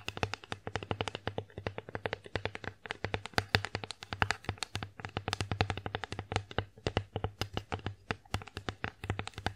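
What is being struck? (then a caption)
Wooden plate. Long fingernails tap rapidly across the flat face of an empty wooden bear-face plate, making dozens of quick, dry clicks with bright edges and almost no ring. A steady low hum sits beneath the tapping throughout.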